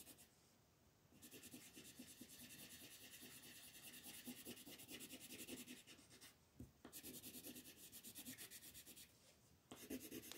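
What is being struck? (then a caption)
Wooden colored pencil on paper sheet. A gold wooden colored pencil rubs across a flat white paper mandala sheet held by fingertips, filling in color. Soft, bright, scratchy strokes come in quick back-and-forth runs, with brief quiet pauses around the first second, near six and a half seconds, and just before the end.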